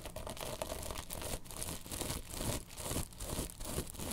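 Long pink nails scratch and tap a long, cylindrical, soft padded pillow covered in woven tapestry fabric. A continuous, rapid scratchy rustle with bright, hissy texture mixes with soft, dull low thumps. The scraping and tapping stays fairly even throughout, with irregular swells in loudness.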